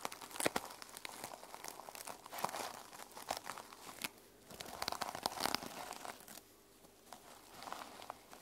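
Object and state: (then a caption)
Sequin-covered fabric journal. Fingernails scratch across the teal sequin cover of a small sequin-covered fabric journal lying flat on a table. Dense, bright crinkling and rasping bursts come in uneven waves with brief quieter pauses between them.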